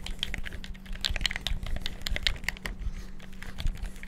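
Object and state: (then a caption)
Plastic game controller buttons being mashed. Fingertips rapidly mash the buttons and move the sticks of a black, hollow plastic gamepad, producing a dense stream of quick, sharp, bright clicks and taps with almost no ring. A steady low hum runs underneath throughout.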